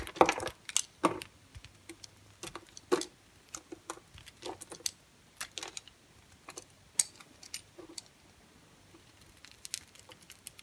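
A square, pale green bar of dry soap held in the hand is cut and scraped with a utility knife blade. The result is a quiet run of short, crisp clicks and scratchy crackles with bright high edges, coming in irregular bursts and fading almost at once.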